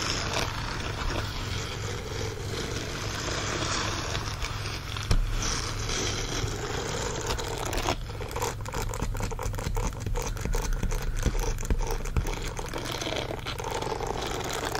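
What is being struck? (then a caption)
Silicone bristle dish glove. Fingertips and nails scratch the palm bristles and finger sections of a green silicone bristle dish glove. The result is a steady, dense rasping and scraping texture over a low background hum, with brief sharper scratches and a bright edge.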